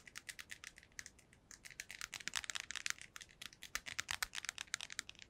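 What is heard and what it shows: A small, hollow, white hard-plastic earbuds charging case is held in both hands and tapped with long nails. About 33 quick, dry clicks run in an uneven stream, bright and sharp with almost no low end and no ring, centered around 1.7 kHz.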